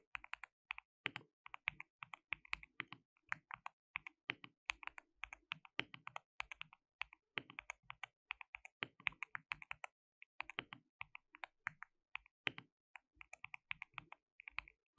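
Both hands type continuously with their fingertips on a compact, hollow, white-cased mechanical keyboard with white and pink plastic keycaps and an RGB backlight. The rapid stream of sharp, bright plastic clacks dies away almost instantly, with only brief pauses between bursts.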